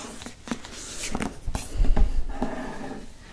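Fingertips and nails tap and trace the front cover of a green hardcover paper book with a glossy cardboard cover. Soft, dull taps with almost no ring mix with light scratchy brushing as the fingers move across the cover.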